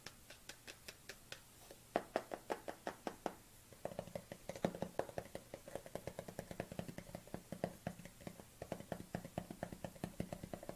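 A dark plastic supplement tub, tilted to show its barcode label, is knocked and tapped with fingernails. Short, dry, hollow clicks with almost no ring start as a sparse, steady series, then turn into faster, denser tapping from about four seconds on.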